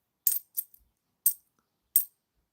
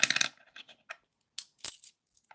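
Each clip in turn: First: £2 coin with a tinny ring. Second: clunky-sounding £2 coin.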